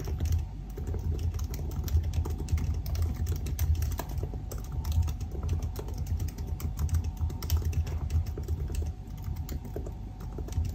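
Bare fingertips of both hands type continuously and rapidly on the black plastic chiclet keys of a solid silver aluminium laptop resting on a white desk. The dense stream of soft key taps is mostly low and thuddy, with a faint steady hum underneath.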